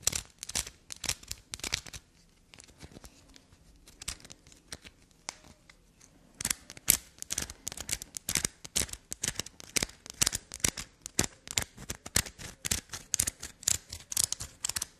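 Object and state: Black soap bar being scratched.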